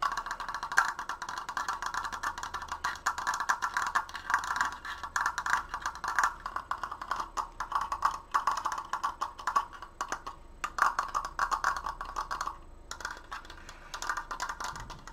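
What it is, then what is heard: Wooden triangular frame. A large stained wooden triangular Triforce frame, held in front of the mic, is fast-tapped with fingernails on its slats. The result is a steady stream of rapid, dry wooden clicks centred in the upper midrange around 1–1.6 kHz, each dying away almost instantly. The tapping briefly thins out near the 13-second mark before picking up again.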